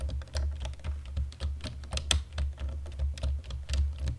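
Fingertips of both hands type steadily on a black plastic computer keyboard in dim light, producing a quick run of crisp, bright key clicks. The clicks sit over a steady low hum.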